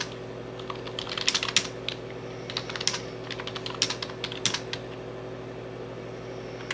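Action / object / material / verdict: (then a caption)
tap / plastic computer keyboard / plastic / none. Fingertips with painted nails tap and type rapidly on a full-size computer keyboard with dark plastic keys and an orange Enter key, lying flat. Bright, clicky key clatter comes in quick irregular bursts over a steady low hum.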